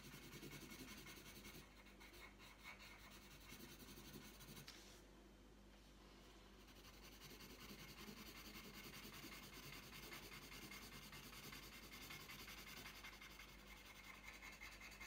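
The tip of a green wooden coloured pencil scratches and rubs across a thin, flat sheet of printed paper lying on a tabletop while colouring. The result is a continuous, bright, papery rasp with steady back-and-forth strokes, easing briefly quieter about a third of the way through before resuming.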